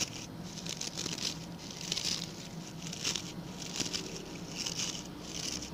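Fingertips and nails scratch the stiff brown bristles of a small, round, ring-shaped coir (coconut fiber) brush held by its pink handle. The result is a steady, bright, dry scratching and crackling patter that swells in irregular bursts, over a faint low hum.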